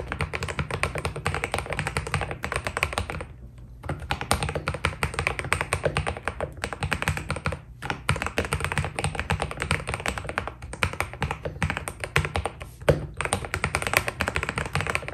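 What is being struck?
Mechanical keyboard with PBT plastic keycaps.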